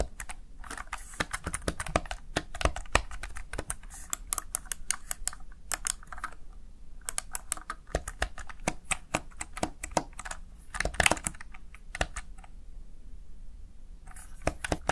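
Fingertips with short nails press and tap the backlit keys of a small plastic Razer Tartarus Chroma gaming keypad. The result is a steady stream of quick, sharp clicks with bright edges that stop almost instantly, over a faint low background rumble.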